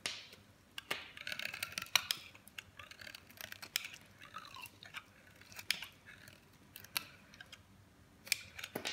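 A metal blade shaves crumbly slices off a dry, solid cream soap bar with a colored coating held in the hand. It makes quiet, bright, dry scraping and crunching sounds broken by sharp clicking snaps. There is almost no low end or ring.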